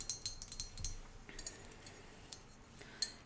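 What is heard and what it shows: A brass fish-shaped ashtray bought at an antique shop in Oregon is tapped repeatedly. It gives short, bright metallic clinks with a faint ringing tone: a quick cluster early on, sparser taps after, and one sharper clink near the end.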